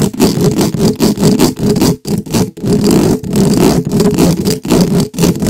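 The hollow metal mesh head of a black microphone is scratched quickly by the pointed tips of two wooden skewers held in gloved hands. The result is a dense, rapid run of scraping and rustling bursts, heavy and boomy in the low-mids, with only brief near-silent breaks between strokes.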